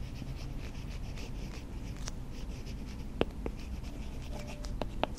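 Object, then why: Stylus tip on a plastic-film-covered tablet screen. An Apple Pencil in a dark silicone grip case writes cursive across an iPad lying flat with a matte, paper-feel plastic screen protector over the glass. The stylus tip scratches and strokes the film with a soft, steady rasp over low rumble. Several sharp taps and ticks stand out near the end.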